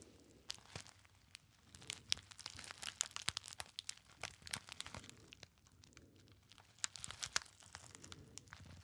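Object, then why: Small metallized foil pouch. Fingertips crinkle a small, hollow, apparently empty gold metallized foil pouch. Bright, dry crackling and sharp snapping crinkles come in bursts, with brief quieter lulls in between. Each crackle cuts off almost instantly, leaving a crisp, papery texture with little low end.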